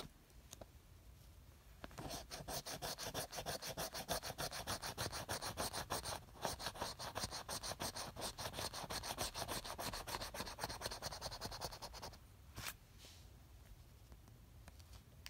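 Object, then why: Paper scratch-off lottery ticket scraped with a coin. A copper coin held in the fingertips scratches the latex coating off a flat, thin card "$1,000 a week for life" lottery ticket lying on a fabric surface. After a quiet start, a steady run of rapid, bright rasping strokes, about three per second, continues from around 2 to 12 seconds. It then gives way to a few faint, scattered scrapes.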